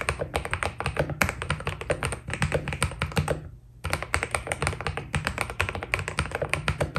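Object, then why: Mechanical keyboard with PBT plastic keycaps. Fingertips type quickly on a white Keydous NJ80 mechanical keyboard with PBT plastic keycaps, producing a dense stream of short, bright clacky key taps over a steady low hum. The typing pauses briefly just past the midpoint, then resumes at the same pace.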